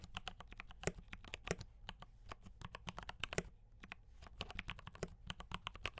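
Fingertips type fast on a D84 mechanical keyboard with brown switches and cream and red plastic keycaps. A rapid, uneven run of about 39 short, dry clacks sounds, each with a bright click and almost no ring, over a faint steady low hum.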